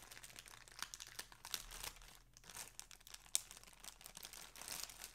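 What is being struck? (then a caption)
Thin plastic poly bag. Fingers and nails crinkle and pull at the opening of a thin, clear plastic poly bag that lies flat on a table, filled with a folded floral shirt, while a grey mailer sits untouched nearby. The sound is a quiet, bright, steady crinkling and rustling with little low end, broken by short, sharp crackles, one standing out near the middle.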